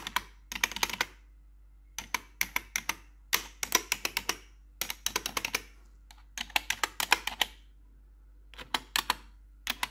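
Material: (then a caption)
Plastic. Long pointed metal nail tips worn over blue gloves tap and scratch the keycaps of a black plastic RGB backlit computer keyboard. Quick bursts of sharp, bright, clicky taps come in clusters separated by short pauses, each click dying away almost at once over a faint steady low hum.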